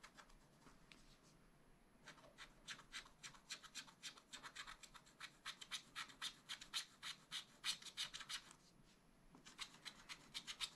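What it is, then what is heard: Scratch-art paper sheet. A pointed wooden stylus scratches a black wax-coated scratch-art sheet in a spiral-bound pad. Soft rubbing gives way to a rapid, uneven series of short, bright, dry scratching strokes. The strokes grow louder toward the middle, pause briefly near the end, then resume.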